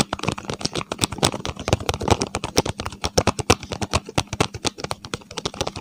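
A small, hollow paperboard medicine box with yellow and blue print is held in both hands close to the microphone while fingertips tap it and nails scratch its cardboard surface. The result is a rapid, steady stream of dozens of short, dry taps and scratchy clicks with a soft hollow low thump and bright edges, each dying away almost instantly.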